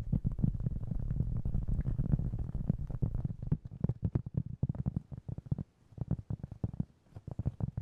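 A round, flat, solid cork trivet about 20 cm across, held in one or both hands, is tapped and scratched with the fingertips. For the first few seconds, rapid tapping and scratching blur into a continuous low, dull rumble. It then breaks into separate quick, muffled thuds that die away almost instantly, with no bright ring.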